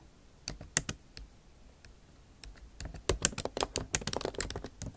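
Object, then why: Laptop keyboard with plastic keys in aluminium body. Long acrylic nail tips tap and type with both hands on a backlit MacBook Pro keyboard, its low-profile plastic keycaps set in a silver aluminum body. Sparse, sharp, bright clicks open the clip, then grow into a denser, faster run of crisp taps with very short decay.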